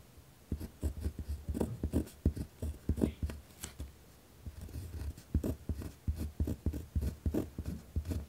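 A pen tip scratches firmly across a white lined paper pad resting on a wooden desk while writing. The result is a quick run of short, dry scratching strokes, heavy in low tones with faint bright edges, broken by a brief pause midway before the strokes resume.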